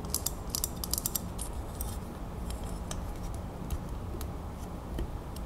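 Long fingernails tap rapidly around the round clasp on the back of a small, solid metal crown ornament held in the fingers. Quick, bright metallic ticks and light scratches, clustered densely at the start and sparser later, sit over a steady low rumble at a quiet level.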